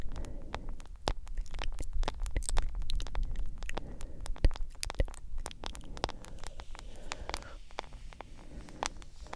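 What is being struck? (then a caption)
Glass-screen smartphone in a silicone case. Long acrylic nails tap quickly on the black glass screen and yellow silicone case of a hand-sized smartphone. Sharp, short clicks come in a fast, uneven patter over a steady low rumble, each tick bright and gone almost at once.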